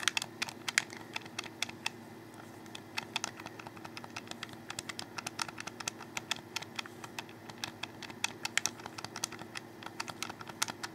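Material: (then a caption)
Plastic. Fingers click the buttons and tap the shell of a hollow black plastic Xbox 360 controller held close. Dozens of crisp, bright, irregular clicks and taps patter across the clip, each one dying away instantly. A faint steady low hum sits underneath.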